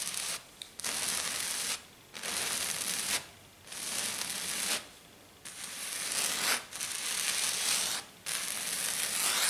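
Long dark nails scratch and rub fast across a flat silver glitter sheet, likely glitter foam, producing bright, harsh rasping. The scratching comes in long bursts separated by brief pauses.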